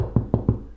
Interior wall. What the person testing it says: vous taper dessus et s'est passé ça sonne creux